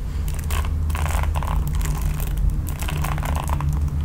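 A red plastic paddle hairbrush with nylon bristles is held in both hands while long nails scratch across the bristles. Bursts of bright, dry scratching and crackling ride over a steady low hum for the whole clip.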